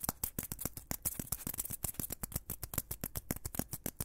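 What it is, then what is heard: Foam blocks scratched and squeezed. Two small, solid white foam blocks held in both hands close to the microphone are squeezed and scratched with fingertips. About 29 short, crackly squeaks and scrapes come in a quick, irregular stream, each with a soft low thump and a bright hiss. They fade almost instantly at a quiet level.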